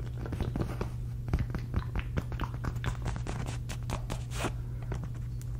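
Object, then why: Fabric cosmetic pouch. Long red nails scratch across the surface of a medium, soft, hollow polka-dot fabric cosmetic pouch held up in the air. Quick, dry scratching strokes follow one another in an uneven patter over a steady low hum.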